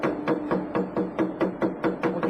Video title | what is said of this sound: Epoksidna ljepila za građevinu Megapoxy | We can hear it sounds hollow.